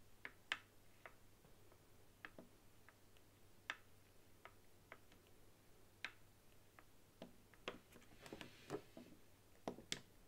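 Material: Plastic.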